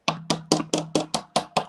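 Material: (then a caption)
Plastic. A plastic cup is tapped to tell it apart from glass, giving nine dull, short knocks with little ring. The knocking sound marks the cup as plastic rather than glass, jokingly meaning economy class.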